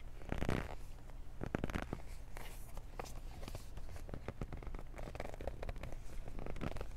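Long nails and fingertips grip and scratch a small, hollow black cardboard Beats earbuds box with its contents inside. A steady stream of dry scratching and crackling runs throughout, with short, sharp scrapes over a constant low rumble.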